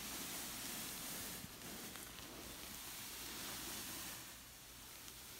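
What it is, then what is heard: Knit fabric pillow being scratched. Long nails rub and scratch across a soft cushion with a textured red and black knit cover, giving a steady, quiet, hissy rustle that is mostly high and bright. A few faint soft ticks poke through, and the scratching eases slightly toward the end.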